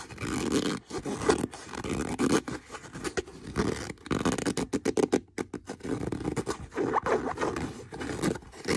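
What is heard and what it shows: Fingernails scratch across the leather of a brown leather boot, making a steady run of dry, rasping scrapes. The strokes come in quick bursts with short pauses between them, their energy mostly in the low-mid range with a faint bright edge.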